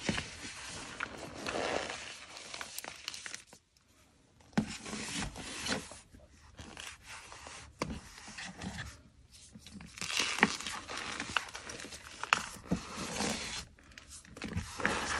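Fingers and palms press into and rub a heaped pile of white gym chalk powder (magnesium carbonate) and a broken chalk block in a black bowl. Dense, bright, squeaky, rasping crunches come in bursts with sharp crackling peaks as the powder compacts. There is a short near-silent pause around the four-second mark.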